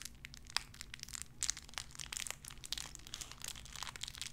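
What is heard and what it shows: A small clear plastic bag wrapped around a tiny white figurine is crinkled and squeezed between fingertips with long red nails. Dense, bright crackles and sharp snapping pops come in quick uneven bursts throughout, over a faint, steady low hum.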